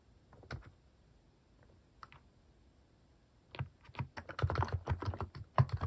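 Fingertips type on a compact mechanical keyboard fitted with cat-shaped plastic keycaps. A few scattered keystrokes in the first half give way to a rapid, dense run of typing. Each stroke is a short, dry, low-heavy clack that stops almost instantly.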